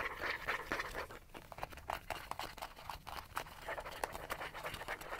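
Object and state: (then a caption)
Plastic bottle scratched. Short fingernails scratch fast along the body and rounded cap of a small, cylindrical, gold-yellow plastic sunscreen bottle, hollow and likely partly full, held in one hand. The sound is a rapid, uneven run of dry, bright scratching bursts at roughly four per second, with a scuffing midrange and almost no ring after each stroke.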